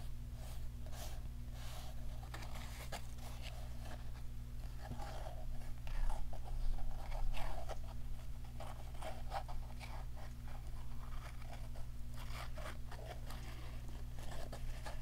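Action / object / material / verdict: scrape / small flat cardboard box with paper cover / cardboard / none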